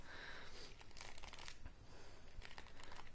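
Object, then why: Wooden paddle hairbrush with bristles. Long fingernails scratch through the bristles and pins of a wooden paddle hairbrush with a solid handle. The result is quiet, dry, crackly scratching in uneven bursts, bright at the top with a faint low rumble beneath.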